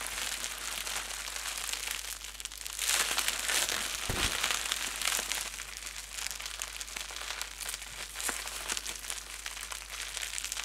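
A small wad of clear plastic bubble wrap with air-filled, hollow cells is wrapped around a small microphone and squeezed and crumpled in both hands with fingertips and painted nails. The result is dense, bright crinkling that runs throughout, with little low end. It swells louder and busier around the third to fifth second before settling into steady rustling with occasional sharper crackles.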